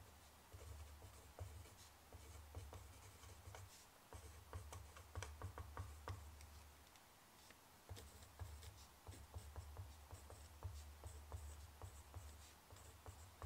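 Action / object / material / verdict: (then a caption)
scrape / pen tip on a sheet of notebook paper / paper / none. A black pen writes across a loose sheet of thin, lined notebook paper lying flat on a wooden table. Soft, dry pen-tip scratches and small bright ticks come in short bursts over a steady low hum that briefly drops out twice. The whole clip stays quiet and close.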